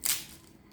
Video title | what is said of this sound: HAZIR YUFKADAN ‼️PUL PUL DÖKÜLEN PATLICAN BÖREĞİ. HARİKA OLDU. ANINDA BİTTİ. | Искам да чуете този звук, приятели. Тази хрупкавост.